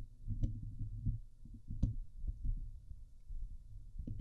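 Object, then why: Steel wire-mesh microphone grille. Long nails scratch the hollow steel wire-mesh grille on the head of a Blue Yeti microphone. The result is a dense, muffled low rumble of scraping strokes, with a few sharper clicks that briefly reach into the high range.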